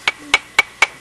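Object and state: Fossilized bone with a hard, metallic ring.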